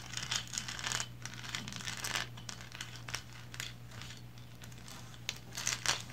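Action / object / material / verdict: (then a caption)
scrape / painted resin lighthouse figurine / resin / none. Long blue nails scratch the lower body and base of a small, upright, painted resin lighthouse figurine. Irregular bursts of bright, crinkly scratching rise and fall over a steady low hum, with the sharpest strokes near the end.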